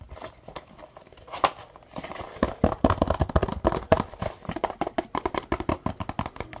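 Fingertips and short nails tap and scratch a small, hollow printed cardboard box in dry, rapid strokes. Dozens of short, papery knocks with a hollow midrange tone around 645 Hz come through, with scratchy crinkling between them. Each hit dies away almost instantly, and the taps grow denser and more rhythmic toward the end.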